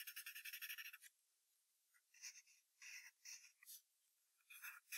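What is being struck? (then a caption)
Graphite pencil on a paper sheet over a hardboard clipboard. A wooden graphite pencil draws short strokes on white paper taped to a hardboard clipboard, just below a sketched fox head. A quick run of rapid, bright scratching fills the first second, then after a brief pause come scattered short rasping strokes. The sound is quiet and sits high, with no low end.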